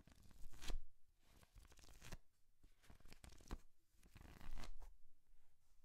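A thick paperback book is held open in one hand while fingers and nails flip and rub its paper pages. The result is soft, dry papery rustles and swishes, with a few louder page flips rising out of quieter scratchy rubbing.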